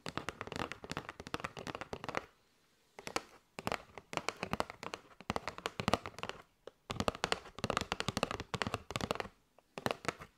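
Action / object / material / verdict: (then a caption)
tap / cardboard box filled with paper straws / cardboard / none. Long nails tap rapidly on a kraft cardboard box with a window, full of paper straws. Quick bursts of crisp, dry clicking taps come in clusters separated by brief silences, each tap sharp and bright with almost no ring.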